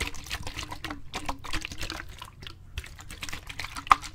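A clear plastic bottle with a grey lid, partly filled with water, is held in both hands and shaken and tilted. Water sloshes and splashes inside in quick bursts of short, crackly transients, with a brief quieter pause midway. A sharper click stands out near the end.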